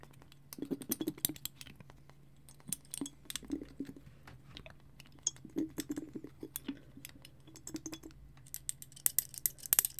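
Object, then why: Small frosted glass bottle. Fingers and nails tap and scratch a small frosted glass bottle held next to the mic; the bottle has a clear glass dropper or stopper and jute twine wrapped at the neck. Quick, dry, bright clicks come in uneven clusters over a low steady hum, with brief scratching between them and a denser, sharper flurry toward the end.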